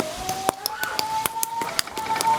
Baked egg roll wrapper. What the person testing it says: That's how crispy it will be.